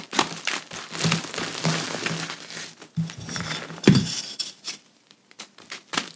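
Powder-coated hands grab, squeeze and rub soft clumps of pressed gym chalk, crushing them into a pile of loose chalk powder. Dense, crinkly crumbling bursts carry a soft low body with bright, gritty crackle. A louder crunch comes near the four-second mark before the sound thins to sparse, quiet crackles.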